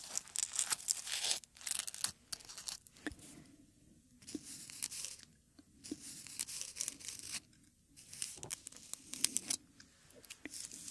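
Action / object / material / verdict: scrape / dried rose petal / dried petal / none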